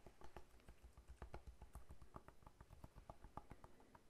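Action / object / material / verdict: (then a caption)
tap / whole pineapple rind / fruit rind / none. A whole fresh pineapple with its leafy crown and hard, scaly rind is held in one hand and tapped on the rind with the fingertips of the other hand. A quick, uneven run of soft, dull taps follows, each short and thuddy with most of its energy low and a faint hollow knock in the midrange. The taps die away almost instantly with no ring.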